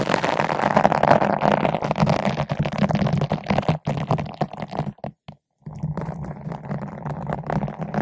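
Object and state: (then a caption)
Foam microphone windscreen brushed with a bottle brush. A long bottle brush with green and white nylon bristles, held in both hands, is rubbed back and forth across a large yellow-pink foam ball windscreen fitted over a microphone. It makes a dense, scratchy, muffled rustle with a low hum underneath. The rubbing stops briefly just past the five-second mark, then resumes slightly quieter.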